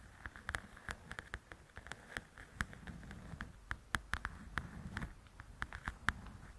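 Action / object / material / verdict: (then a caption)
tap / paperback paper coloring book / paper / none. Long acrylic nails tap and scratch the glossy paper cover of a large, flat, solid "Belles and Blossoms" paperback coloring book lying on a fluffy surface. Many quick, sharp clicking taps, each with a bright papery snap, are heard at an uneven pace. Between them runs a soft, low scratching rustle, and the whole sound stays quiet and close.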